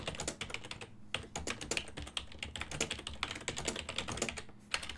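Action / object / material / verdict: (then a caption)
tap / plastic computer keyboard / plastic / none. Fingertips type on a full-size black and silver plastic ergonomic desktop keyboard with hollow key switches. Rapid, bright, clicky keystrokes come in bursts with brief pauses, over a faint steady low hum.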